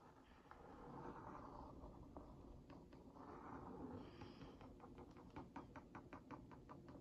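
The tip of a wooden skewer is traced and tapped over the printed cookies on a hollow Oreo Mini cardboard box held in one hand. Soft, dry scratching sweeps come first, then a quick run of light, hollow taps toward the end. The sound stays quiet and close throughout.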